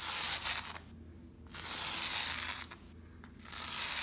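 A small white plastic bristle brush is scratched rapidly across a brown and black patterned shag pile rug in repeated strokes. Each stroke makes a bright, hissy scratching that rises and falls, with quieter gaps between the strokes.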